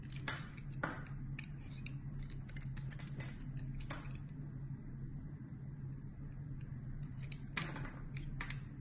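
A metal utility blade shaves thin slices off a solid, hand-sized red rectangular bar of soap over a white table. Quiet, crisp scraping and cutting strokes come in a steady, uneven series over a constant low hum.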